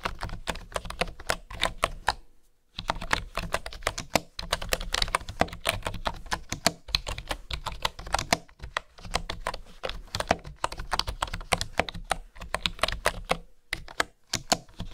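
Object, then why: Bamboo wooden keyboard. Fingertips and nails type and tap on the keys of a bamboo wooden keyboard, making rapid, crisp clicking bursts with short, dry, bright clacks. The typing runs in quick streams broken by brief pauses, the longest near 2.5 seconds and another near 13.7 seconds.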